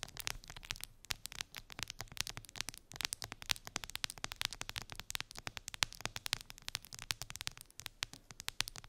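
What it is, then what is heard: Plastic phone case tapped and scratched with nails. Long acrylic nails tap and scratch a clear plastic phone case with colorful gummy bears embedded in it, lying on fur. Rapid, dense, bright clicks and scratchy crackles run throughout, each dying away almost instantly.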